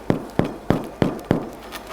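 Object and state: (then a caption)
Hollow-sounding, well-baked bread loaf. A large baked bread loaf is turned over and tapped on its underside to check that it is baked through. Five evenly spaced, low, dull knocks each fade quickly. The hollow sound shows the loaf is well baked.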